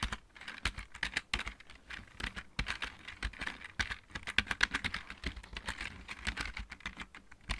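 Both hands type with their fingertips on a full-size backlit plastic mechanical keyboard. A quick, uneven stream of sharp, clicky key taps, each with a bright attack and a small low thump, dies away almost instantly. The typing keeps a steady pace for about seven and a half seconds.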